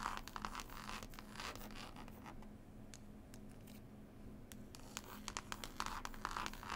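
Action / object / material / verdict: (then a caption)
scrape / cloth-covered hardcover book / cloth, board / none. Long pointed nails scratch and tap on a solid, closed hardback book with a green cloth cover and a paper label. Dry, textured scratching comes in bursts, with sharp bright taps clustered at the start and end and a quieter, steadier scratch in the middle. A faint low hum runs underneath.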